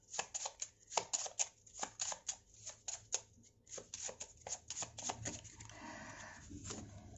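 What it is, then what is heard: Deck of paper tarot cards being shuffled. A small deck of dark coated-cardstock tarot cards, held as a solid stack in both hands, is shuffled with the fingertips over a table spread with other cards, so the cards rub and flick against each other. About twenty quick, crisp, bright flicks snap out in an uneven rhythm with almost no low end. They then blur into a softer, steady papery rubbing at the end.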